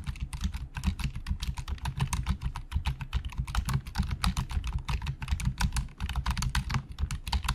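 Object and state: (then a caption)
Plastic computer keyboard. Fingertips of both hands type fast on the hollow plastic keys of a black plastic Logitech full-size keyboard resting on a desk. The result is a rapid, continuous stream of short, bright clacks with dull low thuds beneath them. A steady low hum runs underneath throughout.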